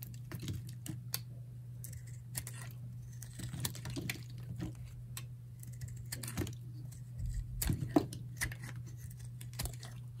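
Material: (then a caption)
Soap. A palm-sized, light green Lever bar soap, solid and dry, is held in the hand and carved into chunky chips with a metal utility knife blade. Quick, crisp scraping cuts and dry crackles with bright edges come in an irregular stream over a steady low hum. The whole clip stays quiet.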